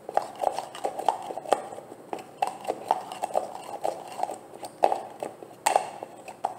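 Long nails tap and scratch the bottom and sides of a large green translucent plastic jar of olive oil gel that looks full. Quick, dry plastic taps with a hollow mid-pitched knock and bright clicky edges come in an uneven run, with soft scratching between them. Each tap dies away almost instantly.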